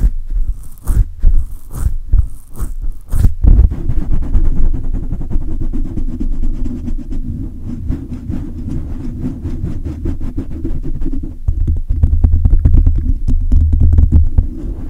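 Clasped hands grip a silver condenser microphone with a hollow metal mesh grille, then fingertips rub the sides of the mesh. The first few seconds bring heavy, booming grip thumps with short bright crackles; then comes a steady, dense low rumble of rapid scratchy rubbing, which swells into deeper throbbing thumps near the end.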